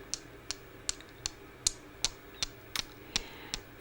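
A red jasper stone and a clear quartz crystal are gently tapped together, giving ten short, bright clicks at a slightly uneven pace of roughly one every 0.4 seconds. Each click is sharp and high-pitched with almost no ring, over a faint steady background hiss.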